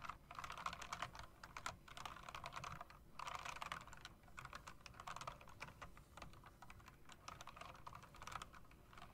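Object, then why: Mechanical keyboard with round plastic keycaps and metal rims. Fast typing with fingertips and nails on a typewriter-style mechanical keyboard with round plastic keycaps and metal rims. It produces a dense, steady stream of sharp, quick-fading clicks centered around 1 kHz, with brief pauses around two and three seconds.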